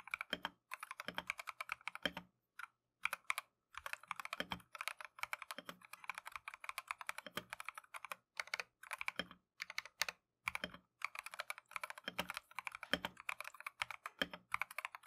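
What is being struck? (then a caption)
Plastic mechanical keyboard keys. Gloved fingertips type continuously on a plastic Keychron V1 mechanical keyboard with Tangerine switches and green/cream matcha PBT keycaps. The result is a steady stream of quick, bright, clacky keystrokes that die away almost instantly, broken by a few brief pauses, with little low end.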